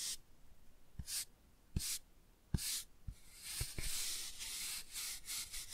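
A toothbrush scrubs the cover of a laminated cardboard board book, making bright, hissing bursts of bristle scratching. Soft low taps sit among the strokes, and the scrubbing grows denser and more continuous near the end.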